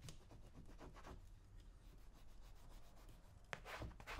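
A small metal blade scrapes along the shaft of a brown leather cowboy boot while one hand holds it steady. The result is quiet, dry rubbing strokes over a low background hum, ending with a few sharper, brighter scrapes.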